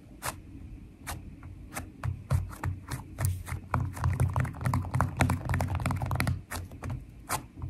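Long nails tap fast with the fingertips on a flat sheet of purple glitter slime studded with foam beads. The result is a quick, slightly uneven run of sharp, bright clicks and crackles over a soft, low, squishy thump, each tap dying away almost at once.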